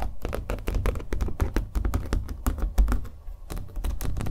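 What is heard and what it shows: Fingernails tap rapidly and continuously on the painted surface of a small, hollow-backed, acrylic-painted stretched canvas held in the hand. Each tap gives a quick bright click over a dull, boomy low thump from the hollow back. The taps die away almost at once and run together in a steady, typing-like patter.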